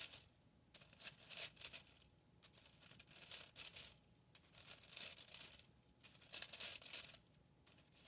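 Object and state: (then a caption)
Bundle of plastic drinking straws. A hand with long painted nails flicks and bends a large hand-held bundle of thin, hollow white, purple and pink plastic drinking straws so they snap back and clack together. The result is bursts of bright, dry crackling and crunching clatter, almost all high in pitch with no low end, separated by short quiet pauses.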